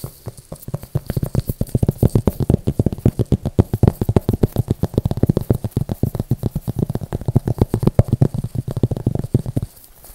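A thin, rigid, flat yellow translucent plastic frisbee is held upright in both hands close to the mic and tapped and scratched with the fingertips. The result is a quick, uneven stream of dozens of soft, dull, low thumps with faint scratchy texture between them. Each tap dies away instantly.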